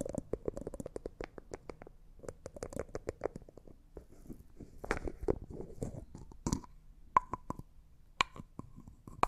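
Fingertips unscrew and screw the white plastic screw lid on a small, hollow, clear cosmetic jar that looks like glass and appears empty. Rapid dry clicks and scratchy ratcheting bursts come from the threads, with a few sharper taps that ring briefly at a mid-high pitch.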